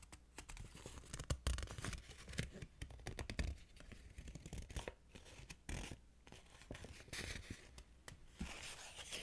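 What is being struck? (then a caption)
Paper banknote. A thin, flat Mexican 100-peso paper banknote, held in both hands, is rubbed, crinkled and scratched by long colorful nails. The result is a steady run of dry, papery crackles and scratchy rustles with bright edges, riding on a low handling rumble. Sharper bursts of crinkling stand out along the way.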